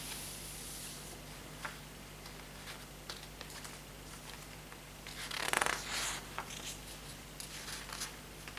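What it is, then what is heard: Paper notebook pages. A hand turns and riffles the lined paper pages of an open hardcover notebook with a green patterned cover, brushing them with its fingertips so paper rustles against paper. Soft, bright crinkles and quick swishes come and go over a steady low hum, with a louder, denser flurry of rustling near the end.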